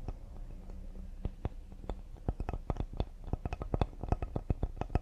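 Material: Cedar wood.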